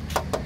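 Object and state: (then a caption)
Solid steel car body panel. Two light knocks on the steel body panel near the gutter of a 1995 Toyota Kijang give short, bright metallic taps with a brief ring. The panel is still solid metal with no body filler.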